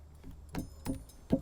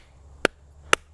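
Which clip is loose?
The first.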